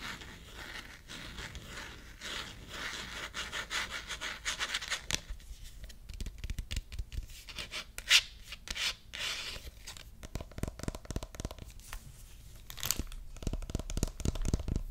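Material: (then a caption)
Plastic. Long red-painted nails scratch and rub the hard back of a hand-sized smartphone in a solid, black-rimmed plastic case with a white marble-print back and a card pocket. The result is a steady, bright, raspy scratching with soft low thumps, one sharp tap near the middle, and denser, louder scratches toward the end.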